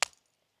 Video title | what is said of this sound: Manaintloammai Visits Kali Mata Temple - Shamshabad to just 9KM Away - Hyderabad Famous temples - 🦢🦆 | కొడితే పట్టుమని సౌండ్ వస్తుంది టుప్పు టుమని సౌండ్ వస్తది